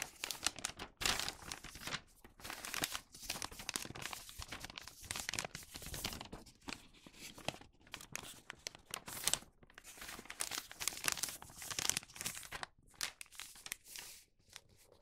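A flattened thin printed newspaper paper bag rests on a cutting mat while fingertips fold its bottom flaps and rub the creases flat. The clip is full of bright, dry paper crinkling, tearing-like rustles and short crunches in dense bursts with brief quiet gaps between them.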